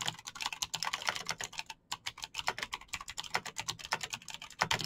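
Fingertips type fast on a Razer BlackWidow backlit plastic mechanical keyboard with clicky green switches, producing a rapid, steady stream of sharp, bright clicks and taps. The keystrokes come densely with only one brief pause near the two-second mark, each click short and dry with almost no low end.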